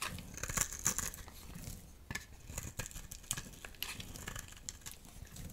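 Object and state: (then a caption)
Dry soap bar being scraped. A dry, solid green soap bar held in the palm is scraped and cut with a metal utility knife blade into shavings and chunks. The result is a quick series of dry, crisp scraping and crackling strokes with bright high hiss and very short, ringless edges.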